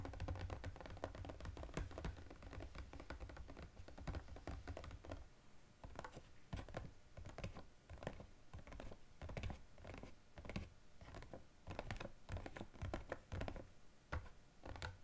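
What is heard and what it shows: A small EOS cardboard gift box with a clear plastic window and products inside rests on a table and is tapped rapidly with the fingertips of both hands. The result is a dense run of quick, dull taps and light thunks with short decay and a low, muffled body, with a steady low hum underneath during the first five seconds.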